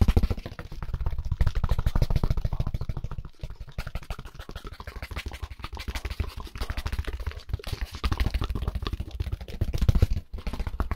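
A white styrofoam packaging insert, a solid foam slab, is rubbed and tapped quickly with gloved hands. The result is a dense, continuous run of short, dull, low thumps and soft scratchy rubbing that die away almost instantly, with brief pauses near 3.4 and 10.3 seconds.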